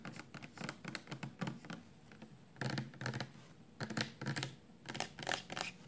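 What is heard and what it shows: Long nails tap and scratch on a 400 mL clear plastic shampoo bottle, full of amber liquid and held upright in both hands. Irregular clusters of quick, light clicks and raspy scrapes come in bursts separated by short, quiet pauses. The plastic gives a dull, hollow tone with very little ring.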